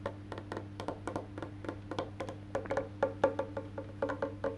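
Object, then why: Wooden electric bass guitar body and maple neck. Fingertips tap the black-painted solid wood back of a face-down electric bass guitar, then move to its maple neck, making about 24 quick, dry knocks with a woody midrange tone. The knocks grow louder and sharper later in the clip, over a steady low hum.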